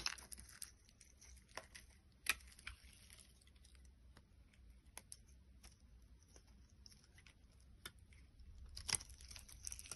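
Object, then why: Translucent soap bar cut with a blade. A box cutter blade carves flakes off a solid orange translucent bar of soap held in the hand. Quiet, dry, crackling scrapes are punctuated by sharp, bright ticks and snaps. There is a louder crack a little after two seconds and a denser burst of cutting near the end.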